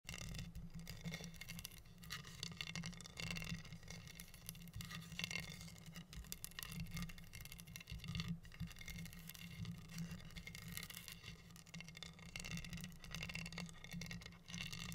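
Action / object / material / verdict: scrape / wooden heart board covered in acrylic rhinestones / acrylic, wood / none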